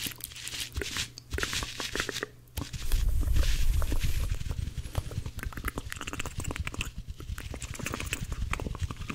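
Two dry blue cellulose kitchen sponges are held together and squeezed and rubbed between both hands close to the microphone. The result is a dense run of crunchy, crackling, scratchy rubbing over a heavy low rumble, growing loudest and fullest in the middle before settling into steady rapid crackles.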